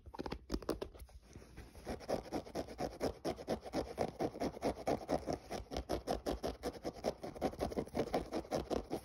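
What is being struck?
Synthetic mesh running shoe upper.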